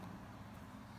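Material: Nothing is struck.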